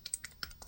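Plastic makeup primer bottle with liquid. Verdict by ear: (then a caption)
Watery. A new plastic bottle of eyeshadow primer elixir with a thin, watery liquid inside is shaken. It makes a quick run of short, bright clicks and sloshing splashes with almost no ring after each. The sloshing sound matches the very watery product.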